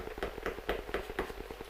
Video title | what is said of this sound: Mrs Deeley Cooks... Bread | if it then sounds Hollow that is the way that we know that it is done